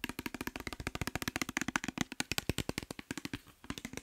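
Fingernails and fingertips tap rapidly on a clear glass bottle with a white cap, partly filled with orange liquid. About 33 short, crisp clicks with a bright glassy tone near 1.5 kHz die away almost instantly, with a brief pause near the end before the tapping resumes.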